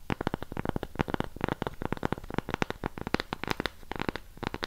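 Long pink acrylic nails tap and scratch the flat surface and rim of a thick, solid, palm-sized round cork coaster block held next to a mini retro microphone. A quick, uneven run of dozens of soft, dull taps, each with a low thump and a very short decay, is mixed with light scratchy rasps.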